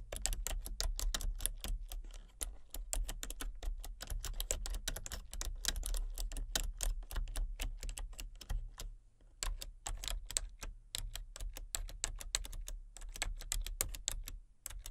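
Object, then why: Plastic computer keyboard. Long-nailed fingertips type on the letter keys and number pad of a full-size plastic computer keyboard with color-changing backlit keys and a hollow body. The result is a steady stream of short, bright, clicky taps over a constant low hum, with a brief pause just before the typing resumes at the same pace.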